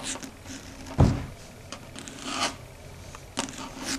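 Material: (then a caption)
Slate board. Long red stiletto nail tips click and tap on a large, flat, dark gray chalkboard, a solid flat board. Soft, dry taps and light scratchy rubs are heard, with one fuller, low thump near the start and brief, bright clicks spread through the rest.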